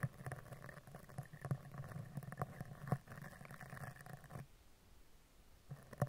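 A dark-bristled spoolie brush is scratched vertically down the front and side of a hollow steel mesh microphone grille. It makes a low, rumbling scratch broken by short, sharp ticks. The scratching drops to a faint hush for about a second near the end, then returns with a few final strokes.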